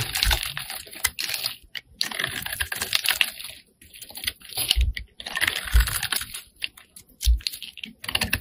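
A metal blade scrapes along a solid pink bar of soap held in the hand, shaving off curls. The result is bursts of crisp, rapid, dry scraping and clicking, bright and close, with brief pauses between strokes and a few soft low thumps.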